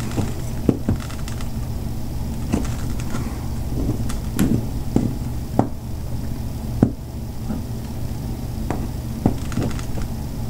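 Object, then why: Bar of soap scraped with a metal knife. A metal butter knife scrapes and shaves flakes from the cut edge of a partly cut, solid white bar of Dove soap held on a table by one hand. Short, dry scraping clicks and crisp snaps stand out at irregular intervals over a steady, low, bass-heavy background hum.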